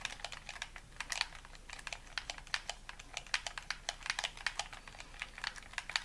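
A hollow white plastic game controller is held in both hands while thumbs and fingertips rapidly tap and click its buttons. The result is a quick, uneven stream of short, dry, bright plastic clicks with almost no ring and very little low end.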